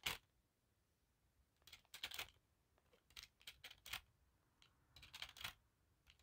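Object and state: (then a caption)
Thin metal hoop earrings. Long black nails tap and scratch a bundle of thin silver-colored wire hoop earrings held in one hand. Bright, quiet metallic ticks and brief jingling scrapes come in scattered bursts with silent gaps between them. Each sound dies away almost at once, with almost no low end.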